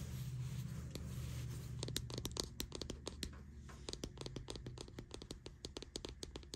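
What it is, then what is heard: Plastic deodorant stick. Long nails scratch and tap the base and sides of a white plastic deodorant stick held on a bedsheet. Soft scratching over a low hum gives way after about two seconds to a quick, uneven run of sharp, bright plastic clicks that stop dead with no ring.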